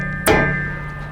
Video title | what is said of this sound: Sah Yatri ने लांच किए अपने तीन बेहतरीन ई-रिक्शा - Sah Yatri E-Rickshaw | आवाज से आवाज से पता चल गया होगा मजबूत है